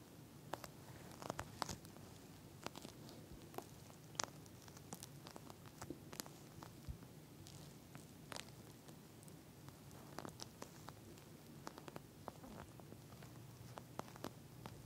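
Long nails scratch and tap across the beaded surface of a pink gel bead eye mask with a plastic cover, lying flat. Quiet, crisp clicks and bright scratchy ticks scatter irregularly throughout, each dying away almost instantly, over a low, steady background rumble.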